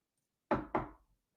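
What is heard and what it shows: Two quick knocks on an imitation-wood desk surface, knocked for luck, which is not real wood. The raps are dull and midrange-heavy, each with a short decay.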